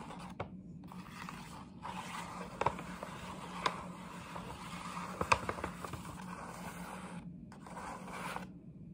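Long nails scratch and rub across the flat side of a printed paper gift bag held close. A steady, dry scratching and rubbing runs throughout, with a few sharper crinkly snaps rising above it. A faint low hum sits underneath.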